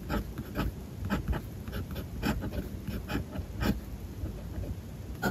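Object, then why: Fountain pen nib on paper notebook page. A fountain pen nib writes on a white paper page of a spiral-bound notebook resting on a desk, making light, dry scratching strokes across the same page. Short bright scratches come in quick bursts over a soft, steady low background hum.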